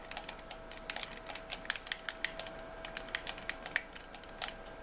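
A white plastic game controller is held in both hands while its buttons and triggers are clicked continuously with thumbs and fingertips. The result is a rapid, uneven series of short, bright plastic clicks that stop almost instantly, over a faint steady mid-pitched tone.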